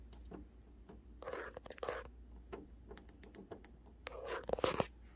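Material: Brass.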